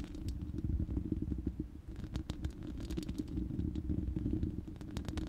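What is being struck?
Steel mesh microphone grille.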